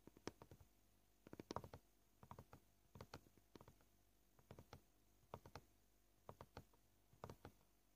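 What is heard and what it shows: Short purple nails tap a flat white plastic cutting board, sometimes with single fingers and sometimes with the whole hand. About 25 quiet, dry taps come in uneven clusters with varied pace, each stopping almost at once with no ring.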